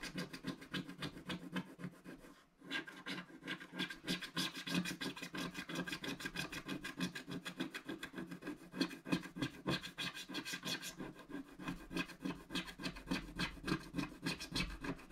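A wooden stick scratches lines into the black coating of a flat, solid scratch-art card page, making a steady stream of quick, rasping strokes with a dry, bright scrape. The rhythm runs at a fairly even pace, with a brief pause early on before the scratching resumes and continues to the end.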